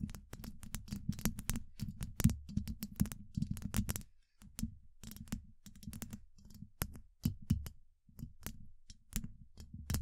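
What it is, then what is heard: Metal microphone mesh grille tapped with nails. The tips of long acrylic nails from both hands tap quickly across a hollow, rounded steel mesh microphone grille. The result is a fast, irregular patter of short, dry clicks, each carrying a dull, low thump. Small bright ticks sit on top, and the taps stop dead with almost no ring, pausing briefly before resuming in clusters.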